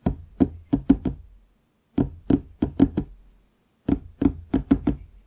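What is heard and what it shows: Fingertips knock on the surface of a large, solid wooden desk near its bottom edge, with a microphone nearby that is not touched. Fifteen dull, short knocks come in three quick groups of five, each with a brief low-mid thud around 270 Hz and almost no ring.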